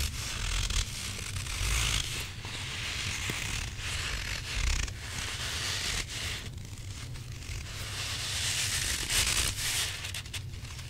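A hand-sized grey rubber squishy possum toy with a soft, filled body is squeezed and scratched with fingertips and nails. It makes a steady crunchy, gritty scraping with bright, high texture over a low rumble, swelling in waves rather than separate hits.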